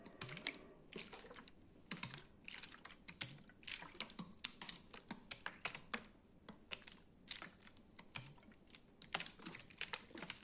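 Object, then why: Plastic juice bottle with plastic sleeve label. A full, medium plastic bottle of orange juice drink with a plastic sleeve label is held in hand and rapidly tapped and scratched with fingernails. The result is a quick, dense stream of crisp, bright clicks and scratchy rasps that die away almost instantly, with little low-end body.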